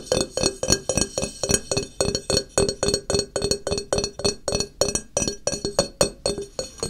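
Fingernails tap and scratch the ridged, textured back of a small, solid ceramic tile held on edge by hand. About 31 quick, bright clicks sound in an uneven rhythm, roughly four per second. Each carries a short, glassy ring around 570 Hz that fades almost at once.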